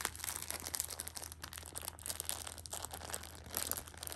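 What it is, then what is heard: Plastic-wrapped tissue pack crinkling. A Shopkins pocket tissue six-pack wrapped in clear plastic film is held and pressed with fingertips and nails, crinkling the wrap. The result is a continuous run of bright, crackly crinkles with sharp little snaps, over a faint steady low hum.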